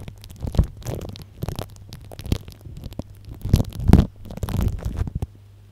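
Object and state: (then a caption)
Cling film over a microphone, tapped and scratched. Plastic cling film wrapped over a microphone is tapped and scratched from above with the cap end of a small blue-and-white plastic tube. Irregular bursts of crinkly crackle mix with soft, muffled low thumps for several seconds, then fade to near silence.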